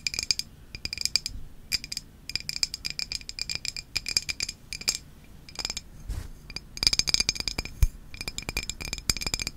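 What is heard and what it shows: A hand-sized glass Izze sparkling water bottle, hollow and partly filled with orange liquid, is held in both hands and tapped with long nails. Quick, bright clicking taps come in clustered bursts, each with a high glassy ping that dies away almost instantly. Faint low handling thumps sit underneath.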